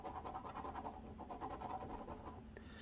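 A coin scratches the coating of a flat cardboard scratch-off lottery ticket, an Arkansas Lottery Double Cash ticket, resting on a wooden table. A steady rasping scrape repeats in quick strokes with a mid-pitched edge, then the coin is lifted off near the end.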